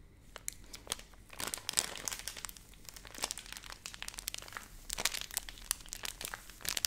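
A hand-sized, filled Nestle Everyday milk powder pouch of flexible laminated plastic is crinkled and squeezed with long painted nails and fingertips close to the mic. Dense, bright crackling comes in quick sharp bursts with no ringing, and a few louder crunches stand out over a low steady background.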